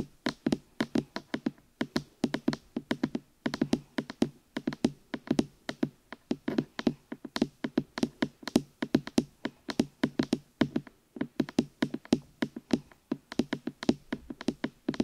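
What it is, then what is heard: Silicone microphone ears tapped. Fingertips knock and tap rapidly on the hollow rubber or silicone ear pieces of a black binaural microphone. The result is dense bursts of short, dull, hollow thuds centred around a low-mid pitch of about 240 Hz, each dying away almost instantly with little bright content.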